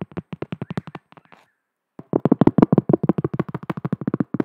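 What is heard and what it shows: Long decorated fingernails tap a round, thin, solid cork coaster about palm size, held upright. About 26 quick, dry, short taps with a soft low-mid thud: a light run, a near-silent pause with faint scratching, then a louder, denser burst of tapping.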